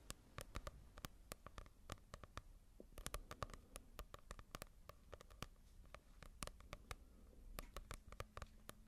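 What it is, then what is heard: Paperback book tapped with fingernails. A small paperback manga volume with a paper cover is held near the mic and tapped with long nails. Quick, dry clicking taps with no ring come in uneven bursts over a faint low rumble, with a soft hum near the end.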